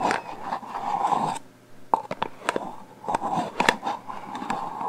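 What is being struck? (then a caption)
Metal aerosol can. Long painted fingernails tap and scratch along the body of a black metal aerosol hairspray can with a plastic cap. The can is about 25 cm long, hollow and pressurized, and held horizontally in both hands. A steady dry scratching gives way to a brief lull, then sharp, short taps with almost no ring, followed by more scraping and tapping.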